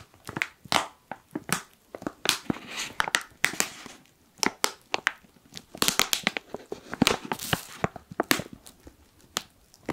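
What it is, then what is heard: Foil coffee bag being crumpled. A black foil coffee pouch is squeezed and crumpled with fingers, producing a steady run of sharp, bright crinkles and crackles. The bursts are brief and dry with little low end. Some stretches swell into longer rustling crunches.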